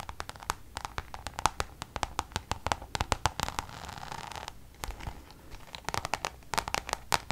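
Long nails tap and scratch a checkered coated-canvas Louis Vuitton pouch held upright. A rapid run of sharp, bright clicks with a papery scratch comes through, and a steadier rasping scrape fills the middle of the clip. Most of the sound sits in the upper mids around 900 Hz, with brief high transients and almost no ring after each tap.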